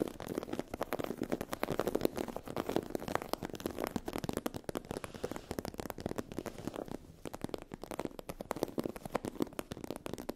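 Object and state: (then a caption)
Textured vinyl faux-leather fabric. A sheet of iridescent holographic vinyl faux-leather fabric with a raised scale texture is scratched with long acrylic nails. The result is a dense, continuous run of quick, dry crackling scratches with a mid-range body and little low end. A brief quieter gap falls around the seventh second.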